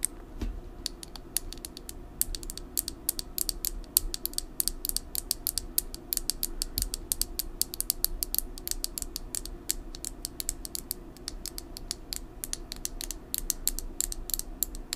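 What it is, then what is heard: Plastic lip gloss tube. Long nails tap rapidly on a small red plastic lip gloss tube with a metallic cap, hollow and filled with gloss, held over a desk. The taps are quick, sharp and bright clicks in a steady, dense patter over a faint low background hum.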